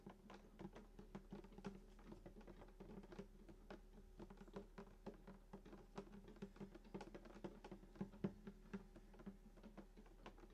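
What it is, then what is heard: Acoustic guitar body tapped with fingertips. Fingertips tap rapidly on the wooden top of a hollow sunburst acoustic guitar lying flat, around the bridge. Many quick, soft knocks come through, each with a short hollow body resonance near 200 Hz that dies away almost immediately, with little high-end brightness.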